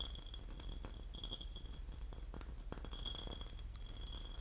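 A porcelain lid is tapped and scratched, giving a steady run of quick, light ceramic clinks with bright, high ringing overtones over a soft scratching texture. The clinks die away quickly, and a constant low hum sits underneath throughout.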